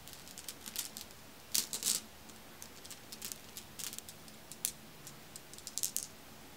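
A hand with long red nails and a large ring rakes through a pile of many small, solid, dark glossy marbles (glass or possibly hematite) resting on a fuzzy white cloth, picking them up and letting them clack together. The result is a scattered series of sharp, bright clicks and rattling clacks with very quick decay, some bunched into short louder clusters, over a quiet, steady hiss.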